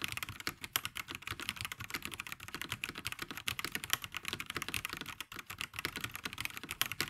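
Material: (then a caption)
Plastic. Both hands type continuously on a black VortexSeries GT65 LITE 65% mechanical keyboard with plastic keycaps resting on a grey desk. The result is a dense, rapid stream of short, dry, bright clacks with very little low end, each keystroke dying away almost at once.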